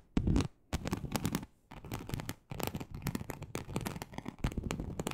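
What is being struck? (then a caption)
Snakeskin-embossed leather sheet. Long acrylic nails scratch across a large, flat, teal snakeskin-embossed leather sheet. Bursts of dense, rasping scratching with a deep, rumbling low end and bright crackling streaks are separated by brief pauses.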